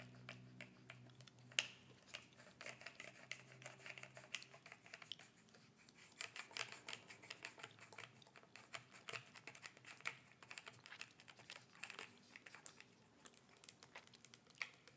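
Long red nails tap rapidly along the red and white label and clear body of a small plastic bottle with a white cap, held horizontally between a bare hand and a gloved hand. The taps are light, crisp, bright clicks that stop almost instantly, coming in quick irregular bursts throughout.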